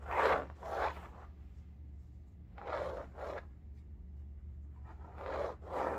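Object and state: Fabric-covered bolster pillow being scratched.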